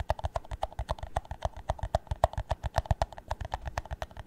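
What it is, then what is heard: Empty plastic cup, hollow tapping. An empty, hollow clear plastic drinking cup is held in the hands and tapped on its base and side with the nails. A quick, uneven run of short, hollow knocking taps follows, each with a dull low thump and a boxy mid tone that dies away almost instantly.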